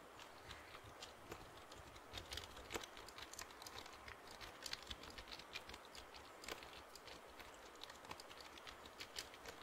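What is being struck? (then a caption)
Plastic computer keyboard. Fingertips and nails tap and press the keys of a full-size black plastic computer keyboard with a hollow body, held upright in front of the mic. Quick, irregular, quiet clicks and taps come in loose clusters, each short and bright with almost no ring. They sit over a steady low hiss.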